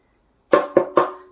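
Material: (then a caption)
Glass. Three quick taps on a glass skincare container holding a copper peptide and licorice root product, tapped while it is being unwrapped from its plastic, though its top part feels cheap and plasticky. Each tap is a short, bright clink with a brief ring around 550 Hz, confirming the container is glass.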